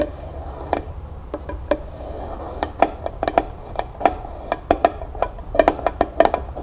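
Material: Tin.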